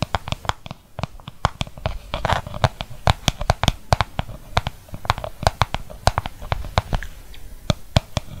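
Fingertips and nails tap and scratch the outside of a small, translucent, hollow plastic mixing bowl, empty apart from purple mask residue and held tilted close to the microphone. A rapid, irregular stream of sharp, dry taps lands with a low hollow thump and bright clicky tops, each dying away almost instantly. Brief scratchy rustles fill the gaps between them.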